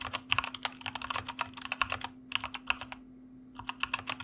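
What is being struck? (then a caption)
Mechanical computer keyboard with plastic keycaps. Fingertips of both hands type on a white mechanical computer keyboard with plastic keycaps. About 23 short, bright clacks come in quick bursts, with a brief pause near the three-second mark. A faint steady hum sits beneath the clicks.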